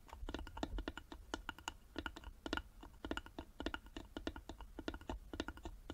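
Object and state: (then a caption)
Carved wooden box. Long nails tap rapidly on the sides of a small, hollow carved wooden box held in both hands. The result is a dense stream of quick, dry clicks with a hollow wooden knock around 320 Hz and bright edges, each dying out almost instantly over a faint low rumble.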